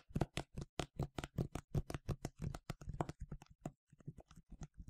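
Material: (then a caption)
Plastic. A medium yellow plastic sunscreen spray bottle with a translucent cap, hollow and partly filled, is tapped and scratched with fingernails. About 22 quick, dry taps and scratches come in a fast, uneven rhythm, each giving a short, hollow low thump that dies away almost at once. The taps grow softer and sparser after a brief pause near the end.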